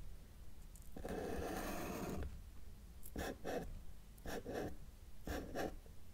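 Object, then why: Felt-tip marker on a paper sheet. A felt-tip marker held in the fingers draws small trees on a flat white paper sheet lying on a table's solid surface. One longer scratchy stroke is followed by six short marker-on-paper scratches in three quick pairs, with a low, soft hiss between them.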